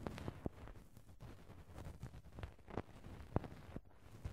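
A cotton swab gently rubs and brushes the small round metal mesh grille over the hollow right-hand capsule of a Tascam handheld recorder, in an ear-cleaning style. The microphone's own contact noise comes through as a soft, low, muffled scraping and rumbling, broken by a few short, sharper taps that stop at once.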